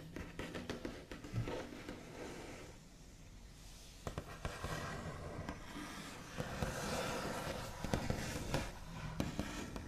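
The backs of fingernails rub and trace across the large, solid, smooth top of a white-finished wooden table. Soft, scratchy, continuous rubbing is broken by sharp, bright ticks, with a quieter stretch around the third second before the scraping thickens again.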